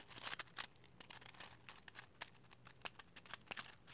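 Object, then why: Cardboard matchbox with wooden matches. A small, hollow cardboard matchbox full of wooden matches is held and handled with long matte green nails: sliding, scratching and tapping. Quiet, crisp, bright crinkly scratches are punctuated by a rapid series of short, sharp taps that die away almost instantly, over a faint low hum.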